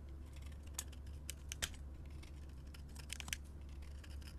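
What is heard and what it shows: A metal utility blade scrapes crumbly shavings off a solid orange soap bar with a painted black face, held in hand. Short, crisp, bright scraping ticks come at irregular moments over a steady low hum.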